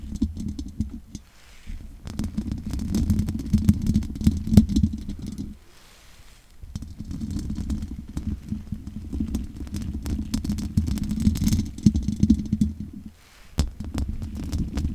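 Long nails scratch across the top of the hollow metal mesh grille of a large condenser microphone, making a dense, low, rumbling scrape with a steady hum near 210 Hz and many quick crackling ticks. The scratching runs in stretches, dropping briefly to near silence around 6 seconds and again near 13 seconds.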